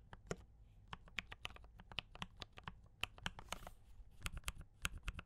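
Both hands type continuously with fingertip taps on a compact D84 mechanical keyboard with brown switches and cream and red plastic keycaps. Short, bright, clicky keystrokes sound in quick irregular succession, each decaying almost instantly over a low hum.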